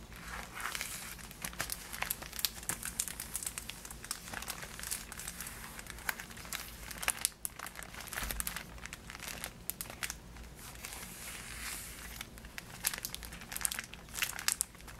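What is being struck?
Cardboard box with a plastic window.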